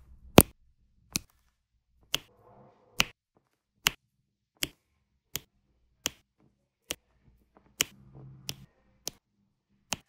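A diamond painting pen with a metal tip presses small solid square resin drills in white and teal onto a flat adhesive diamond painting canvas, with a purple drill tray nearby. Thirteen sharp, bright, dry taps come at a steady pace, each ending almost instantly. Faint soft rustling sits between a few of them.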